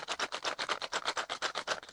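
A sealed cardboard Spellbinders 2025 Advent calendar box holding craft dies and embossing folders is shaken quickly. About fifteen quick, bright rattles follow one another with no low end. The contents clatter inside the box.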